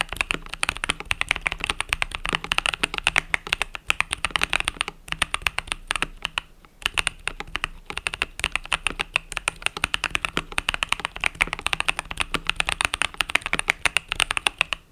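A compact mechanical keyboard with cream and purple plastic keycaps, resting on a desk mat, is typed on rapidly with fingertips and long nails. The result is a dense, continuous stream of sharp, bright plastic clacks centered near 2.7 kHz, with very little low end. There is a brief lull around the middle of the clip.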